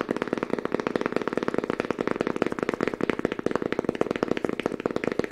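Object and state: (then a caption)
Fabric-covered book. A small, thick book with a green fabric cover and cream page edges is held in both hands and tapped quickly with fingertips on the cover and spine. The result is a fast, steady stream of dull, muffled taps with a mid-range thud and almost no ring after each one.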